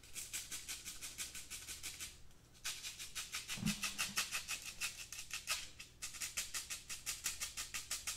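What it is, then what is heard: Metal mesh pencil cup being scratched. Fingertips and nails scratch the mesh walls of a hollow, empty black wire-mesh metal pencil cup. The rapid, bright, raspy strokes come at about three per second, with short breaks near the two- and six-second marks and a brief low thump partway through.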